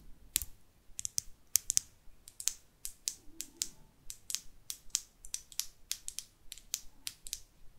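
Long artificial nails tap and scratch a small, closed, hollow pink plastic lip gloss tube filled with gloss and topped with a white metallic cap. About 25 sharp, bright, dry clicks and ticks come in an uneven, typing-like rhythm, each dying away at once with no ring. Faint scratchy rustles sit between the taps.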